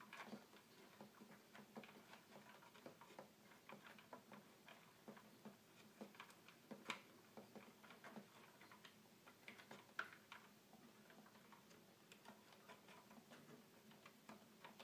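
Fingertips repeatedly press and tap the small plastic buttons near the keys of a small, hollow red plastic toy keyboard. Steady, quiet ticking clicks with a bright edge follow one another throughout, over a faint low hum.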